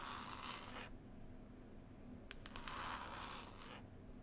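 Long pointed nails scratch and tap the green woven cloth cover of a closed, solid hardback book. Bursts of dry, bright scratching open and close the clip. Between them, a quieter stretch is broken by a few sharp, quick taps.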